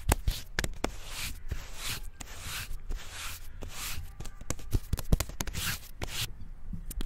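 Fingertips rub and scratch the smooth bark of a slim, solid tree trunk in a brushing motion close to the microphone. Soft, breathy scraping swells come and go, broken by sharp dry ticks and low bumps, in a steady, close, intimate texture.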